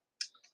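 A pressed glass footed candy dish with suns on its lid is tapped three times to check its material, giving short, bright, high-pitched clinks that fade quickly. The sound confirms the dish is glass, not plastic.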